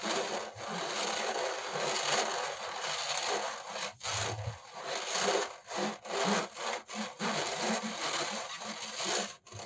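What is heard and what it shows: Fingertips rub and scratch across the metal mesh top of a black dual-fan laptop cooling pad with a plastic frame, held in the lap. A dry, bright, rasping scratch runs almost continuously, then breaks into a series of shorter strokes separated by brief pauses in the second half.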